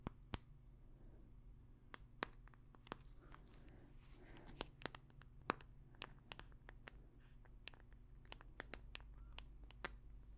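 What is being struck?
Smartphone in a hard plastic case.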